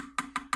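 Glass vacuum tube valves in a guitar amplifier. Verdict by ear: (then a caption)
Tight. Three sharp taps on the vacuum tube valves of a Gibson tube amp with the volume on full, after new sockets and spring retainers were fitted on the output valves. Each tap comes through as a short, clean knock with no crackle. The noise, which had come from a broken pin on a socket, is gone.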